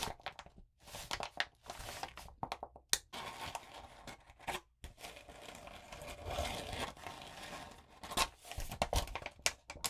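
A palm and long nails rub a sheet of lined notebook paper coated with blue glitter flat, then both hands hold and crinkle it. Bright, scratchy crinkles and rustling bursts come in irregular waves, with short sharp crackles and brief quiet gaps between them.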